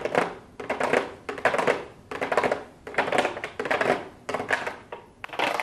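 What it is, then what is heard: Plastic-lidded cardboard palette box. Long blue acrylic nails tap on a pink cardboard palette box with a clear plastic window lid, lying flat on a desk. Quick bursts of light, bright clicks come in clusters with short pauses between them. Each tap is dry and short, with little low end and almost no ring.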